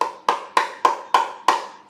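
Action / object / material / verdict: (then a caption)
knock / 3D-printed plastic shoe / PETG plastic / rigid. A white, classic-style 3D-printed PETG shoe is tapped six times, giving hard, hollow, wood-block-like knocks centered near 1 kHz that die away within a fraction of a second. The sharp, rigid sound shows the shoe is stiff rather than flexible TPU; it is too hard to walk in comfortably and serves only as decoration.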